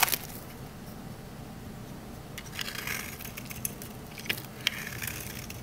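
A rectangular solid green olive-oil soap bar is held in the hand while a metal utility knife blade scrapes along its edge. Soft, crackly scraping rasps sit over a low background hiss. A few sharper, bright clicks stand out near the start and in the second half.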